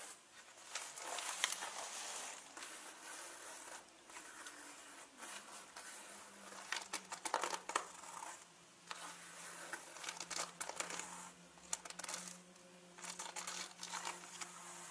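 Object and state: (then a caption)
Leather handbag. Long fingernails scratch and rub along the side of a turquoise leather handbag near its zipper and strap. The result is quiet, bright, crinkly scratching in uneven bursts, with brief pauses between strokes.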